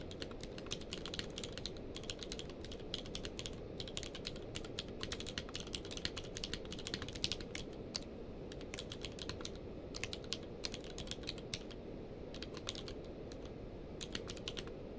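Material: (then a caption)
Plastic. Both hands type rapidly with their fingertips on a full-size plastic mechanical keyboard with a blue-grey case and white and grey plastic keycaps, lying on a blanket. Quick, bright key clicks come in bursts over a steady low rumble, with short pauses between runs.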